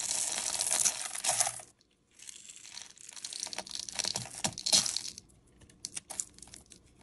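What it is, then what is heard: Bar soap scraped with a blade. A metal utility-knife blade scrapes powdery, crumbly shavings off the face of a solid, cream-coloured oval bar of soap held in the hand. Bright, dry, crackly scraping comes in a dense burst, pauses briefly, then resumes with another strong pass. It thins out into sparse, crisp crumbling ticks.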